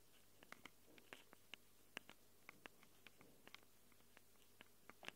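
Long acrylic nails scratch and tap the metal mic capsules of a small black handheld Tascam recorder. About nineteen short, sharp, bright ticks and scrapes are heard, spread unevenly over a quiet background with a faint low hum, each dying away almost instantly.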